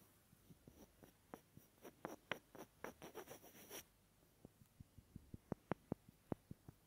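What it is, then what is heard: Small wooden block. A small, solid, light wooden block held beside an ear microphone is scratched and rubbed with fingertips. For the first four seconds there are dry, scratchy bursts with a bright hiss. After that come quieter, sharp, dry taps and clicks that die away at once.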